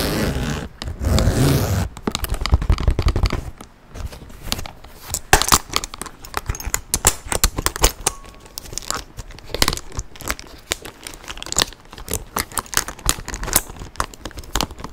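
Nails scratch and rub a tan leather satchel bag with a front zip pocket. The result is a dense stream of dry, crackly scrapes and rustles. It opens with two louder, fuller bursts of rubbing, then turns into many quick, sharp ticks and scratches with bright edges.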